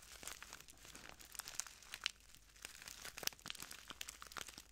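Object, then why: Small plastic bag of translucent granules. Fingertips of both hands crinkle and squeeze a small clear plastic bag full of translucent granules. The result is quiet, bright, irregular crackling and rustling with sharp little snaps scattered throughout and almost no low end.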